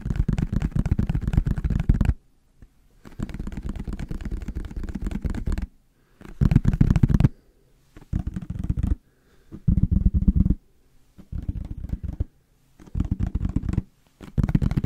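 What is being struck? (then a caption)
Plastic squeeze bottle. A yellow plastic squeeze mustard bottle with a white cap is tapped and scratched with fingertips and nails. Bursts of rapid, dull, low tapping and scratching are separated by short silences.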